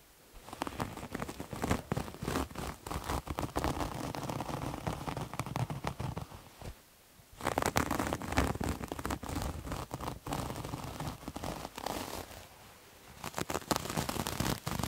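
Fingernails scratch a soft, multicolored striped terry cloth towel with cotton-like loops, bunched up in the hands. The result is a dense, steady run of crackly, rustling scratches with a low, muffled body. It stops briefly near the middle and again near the end before resuming.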